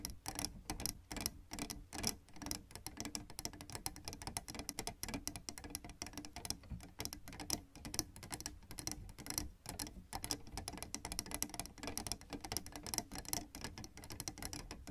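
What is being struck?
Plastic keyboard keys.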